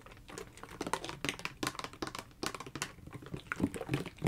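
A blue hard-plastic gel ice pack is held in both hands and tapped rapidly with long fingernails. The result is a dense stream of quick, dry clicks with bright edges and almost no ring, rising and falling in loudness.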